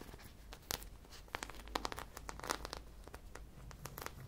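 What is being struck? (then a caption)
Polyurethane foam squishy toy. A hand-sized, solid polyurethane foam squishy popsicle covered in sprinkles is held in both hands and scratched with long nails along its bumpy sprinkle surface. The result is a quiet, rapid series of dry, crackly scratches and tiny clicks with a bright, crinkly edge, each burst dying away almost instantly.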